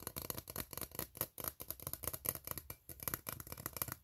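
A fingernail scratches across the ribs of an empty, open, ribbed steel tin can and taps its hollow side. The result is a quiet, continuous run of rapid raspy scrapes and short clicks with a bright, high metallic edge and almost no ring after each stroke.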